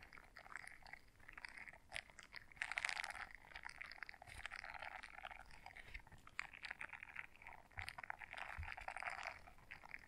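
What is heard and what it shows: A small blue silicone scrubber brush is folded in half while long nails scratch across its bristles. The result is a quiet, dense stream of short, dry, crackly scratches with a bright, high-leaning texture. It swells and fades in bursts over about ten seconds.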